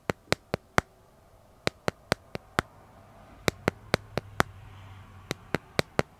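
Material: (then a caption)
Plastic. Fingernails tap and scratch the back of a smartphone held upright in a clear plastic dragon-print case. Eighteen short, sharp, bright clicks fall in quick groups of four, five, five and four, separated by brief pauses. A faint low hum and soft scratchy hiss sit underneath in the middle of the clip.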